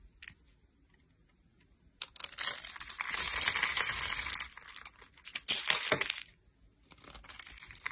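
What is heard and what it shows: A metal blade scrapes a solid, dry light green soap bar with embossed text, scored in a grid and held by fingertips, shedding crumbly shavings. After a brief tick and a short silence, a dense, bright, crunchy rasping builds and holds for a few seconds. It then breaks into shorter crackling scrapes and ends with softer scraping.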